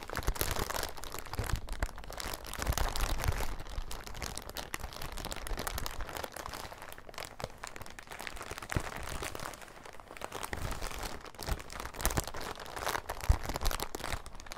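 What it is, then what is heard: Clear plastic bag. An empty, thin, transparent, crinkly plastic bag is held in both hands and squeezed and crumpled with the fingers. The result is a steady, dense stream of crinkling and crackling with brief, sharp snaps and a soft low rumble underneath, running for the whole clip.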